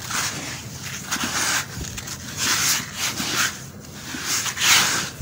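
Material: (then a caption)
Sand. Bare fingertips and a palm dig into and squeeze coarse, damp tan sand in a white plastic bucket, so the wet clumps crumble and rub apart. The result is a series of soft, gritty, bright crunching and rubbing swells with a faint low knock from the bucket.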